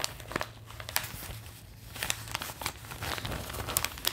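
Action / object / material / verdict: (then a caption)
scrape / folded newsprint newspaper / paper / none. A large folded newsprint copy of The Globe and Mail, thin and flexible, is held in both hands while the fingers crinkle and shift it as the pages are handled. The result is a steady stream of dry, bright crackles and rustles, with sharp crinkles popping out over a faint low hum.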